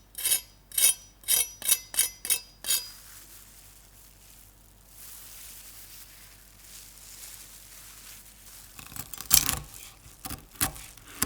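Utensils tap and cut across the skin of a finished air-fried pork belly, giving seven sharp, bright crunches in quick succession, then a quiet stretch before another burst of crackling crunches. The skin is super crispy, with the meat juicy inside.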